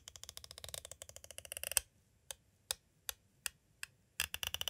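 A metal-tipped green tool taps quickly on the side edge of a clear plastic cassette tape case, making a fast run of sharp, bright, dry clicks. After a short pause come five slower, evenly spaced taps, then another quick burst of clicks to finish.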